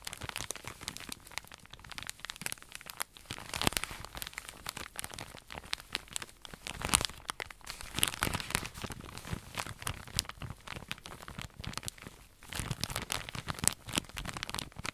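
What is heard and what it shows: Fingernails scratch and tap the crinkly plastic wrap on a long roll of cotton pads held horizontally in both hands. The result is a dense, quiet stream of bright crinkling and scratching with sharp little ticks and no ring. The sound dips briefly around the twelve-second mark before resuming.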